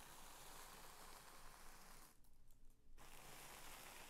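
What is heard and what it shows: Both flat hands press, smooth, slide over and crinkle a large thin sheet of purple tissue paper lying flat on a woven bedspread. It makes a steady, soft, bright papery rustle, with a brief quieter stretch near the middle where the high hiss drops away before the rustling resumes.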